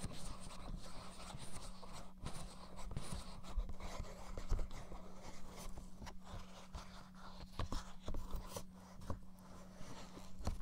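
A blue, hollow, PS4-style plastic gamepad is pressed against a dummy head's right ear while fingers tap its plastic shell. Soft, short, dull taps sit over a low hum near 200 Hz. The sound is quiet, close and mostly low, with a faint bright hiss.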